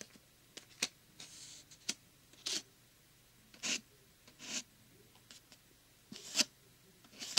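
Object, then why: Thin plastic glow stick package. Fingertips and short nails scratch and rub across the surface of a thin plastic glow stick package lying flat. A series of separate, quiet, bright rasps like writing sounds, with brief silences between them and very little low end.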